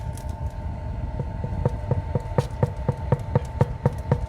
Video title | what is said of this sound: Comment faire un Pain AU LEVAIN ? Ma recette de PAIN au LEVAIN | que je le fais toquer, il va sonner creux, il va être bien cuit